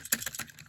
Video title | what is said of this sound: Mixed Tomica Showcase!! Ferrari, Corvette, Viper, Bugatti and Escalade limo! | I don't know why it sounds cheap like that